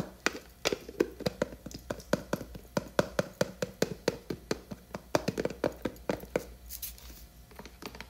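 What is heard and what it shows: Long nails tap and scratch the rim of the black plastic lid on a large blue plastic hair cream tub. About thirty quick, dry clicks ring briefly with a hollow mid-pitched knock near 590 Hz. They thin out into softer scratching with brief bright hiss toward the end.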